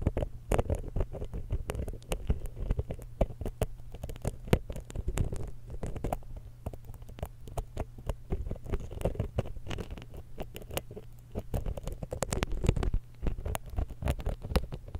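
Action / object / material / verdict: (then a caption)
scrape / metal microphone capsule scraped with a steel pick / metal / none. A thin steel dental pick scratches the lower capsule of a small silver X/Y stereo microphone while the other hand steadies the mic. Dense, rapid scraping clicks and soft taps land close and boomy over a low, steady hum. The scratching swells louder near the start and again toward the end.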